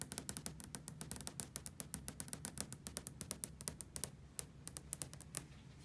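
Long fingernails tap a large, solid glass hotel window that has raindrops on the outside, producing a rapid, uneven run of about forty sharp, bright clicks. Each tap dies away almost at once over a steady low hum, and the taps grow slightly fainter toward the end.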